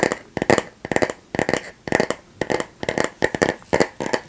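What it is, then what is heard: Bamboo paddle hairbrush tapped. A flat, light bamboo or wooden paddle hairbrush with a solid back is held in both hands close to the mic while long nails and fingertips tap and scratch its back. Quick clusters of dry, crackly clicks and scrapes repeat about twice a second, with a hollow tone near 550 Hz and a bright edge around 2 kHz. Each burst dies away almost at once, leaving short near-silent gaps between them.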